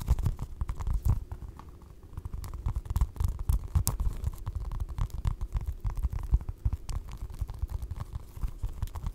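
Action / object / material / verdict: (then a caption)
tap / foam stress ball tapped and scratched with long nails / foam / none. A small orange foam stress ball printed like a basketball, soft and solid, is held in front of the mic and tapped and scratched with long acrylic nails. Dull, low thuds mix with a dense, steady patter of brushing scratches that stays almost entirely in the low range. Each tap dies out at once with no ring.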